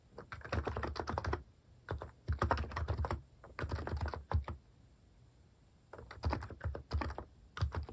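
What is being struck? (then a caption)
Plastic keyboard keys. Fingertips type rapidly on a compact Hanmumu plastic keyboard with cream and brown plastic cat-face keycaps and a hollow plastic case, resting on a wooden desk. Bursts of quick, short keystrokes with a deep, hollow thock are separated by brief quiet pauses.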